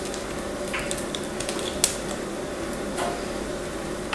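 A hand-sized chunk of solid blue and white marbled bar soap is carved and scraped with a craft knife while long nails hold it. Soft, steady scraping and shaving runs throughout, broken by small crisp clicks and one sharp bright snap near the middle.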